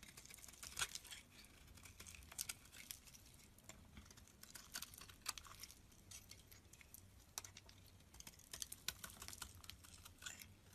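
A utility knife blade shaves curls from the surface of a solid green soap bar held in the palm. The sound is a quiet, steady run of bright, crisp scraping and crackling ticks, with short sharper bursts as each curl is carved off. A faint low hum sits underneath.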